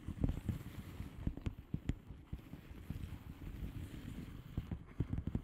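Long manicured nails on both hands tap and scratch a flat blue plastic bubble wrap mailer envelope with air-filled bubbles. Soft, dull, low thuds and quick clicks come in uneven clusters over a quiet rustling bed, each tap dying away almost at once.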